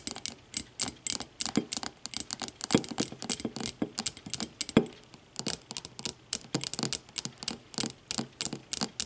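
Long matte fingernails on both hands rapidly tap an empty clear glass tumbler lying on its side. The result is a fast, uneven patter of dozens of crisp, bright clicks, each with only a very short glassy ring.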